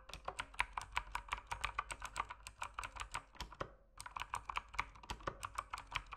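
Fingertips type on a mechanical keyboard with plastic keycaps in low light, producing a rapid run of short, crisp clicks with a bright, clacky edge and almost no ring. The typing pauses briefly near the middle, then resumes at the same quick, steady pace.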